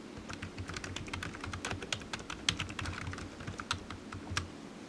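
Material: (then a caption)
Plastic. Fingertips of one hand tap the keys of a solid, black, low-profile plastic computer keyboard resting on a desk mat, typing steadily. Quick, bright clicks with very short decay, some louder than others, sit over a soft low hum.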